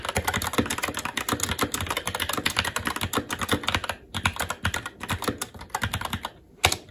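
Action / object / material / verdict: tap / mechanical keyboard with plastic keycaps on a metal plate / plastic / none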